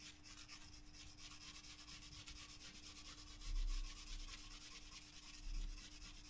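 A graphite pencil shades and rubs across a white paper page in a spiral-bound sketchbook in steady strokes, giving a soft, dry, bright rasping scratch over a faint steady hum. Two louder, low thumps swell out of the quiet scratching partway through.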